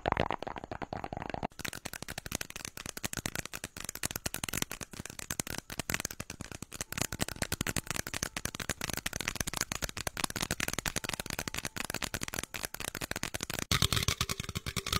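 A small, hollow, apparently empty red plastic party-style cup is held in both hands close to a microphone and tapped quickly with the fingertips and nails. The result is a dense, fast, continuous stream of short, dry, bright clicks and hollow plastic taps with almost no ring, running steadily for the whole clip.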